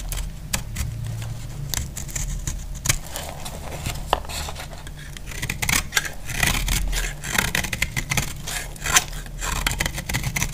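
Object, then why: Bar of soap cut with a metal blade. A solid dry white soap bar is held in the hand and shaved and cut with a metal utility knife blade, with flakes falling onto a pile of soap shavings. Many short, crisp scraping cuts with bright, high crackle come over a steady low rumble throughout. Quick snaps and scratchy strokes follow one another unevenly across the clip.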